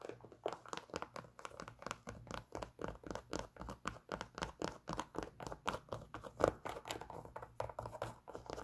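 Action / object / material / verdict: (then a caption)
scrape / leather sneaker with rubber toe / leather / none. Long nails scratch and tap the leather upper and rubber toe shell of an empty, worn white leather Adidas Superstar sneaker with black stripes and a rubber sole. The result is a steady run of quick, dry, crinkly taps and scratches with almost no ring.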